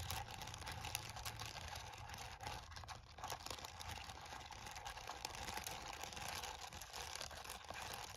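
Fingertips and nails of one hand tap quickly on the keys of a plastic calculator lying on a towel. The result is a soft, steady stream of rapid, bright, clicky taps with almost no ring, each tap dying away instantly.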